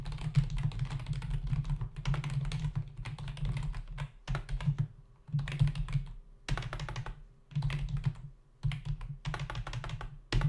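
Both hands' fingertips type rapidly on a full-size black plastic membrane keyboard with hollow keys resting on a dark desk. Bursts of quick, hollow plastic clicks and thuds come in runs separated by brief pauses. The clatter has a low, thumpy body with a bright tapping edge on top.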